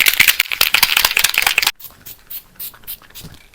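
A plastic bottle of Kiko Prime and Fix liquid makeup setting spray is shaken hard before use. It makes a rapid, bright, rattling swish for about 1.7 seconds, then stops abruptly, followed by a few faint, scattered sounds.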